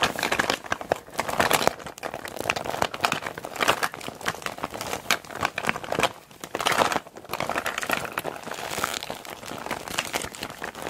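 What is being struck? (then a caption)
PVC makeup bag. A small clear PVC zip makeup bag with a green zipper, full of makeup items, is held and squeezed in both hands with long black nails. Continuous plastic crinkling and squelching fill the clip, bright and mid-heavy with almost no low end. There is a brief lull around the six-to-seven-second mark before the squeezing resumes.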